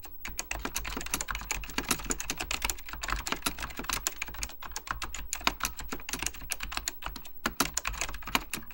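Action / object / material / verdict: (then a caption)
tap / plastic mechanical computer keyboard / plastic / none. Fingertips type continuously on a beige plastic full-size Apple Extended Keyboard II, pressing hollow plastic keycaps over mechanical switches. A dense, uneven stream of sharp, bright clacks sounds with short decays over a steady low hum.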